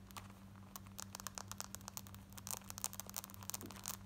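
Long nails scratch quickly across the front, waistband and button area of worn black denim jeans. A rapid run of short, bright, raspy scratches sounds over a steady low hum.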